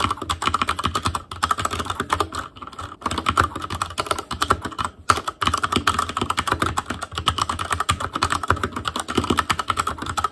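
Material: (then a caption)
Plastic. Fingertips type rapidly on an Asus Claymore Core mechanical keyboard with plastic keycaps. A dense, steady stream of short, sharp clacks with a bright click tone carries on throughout, with a few brief pauses near the middle.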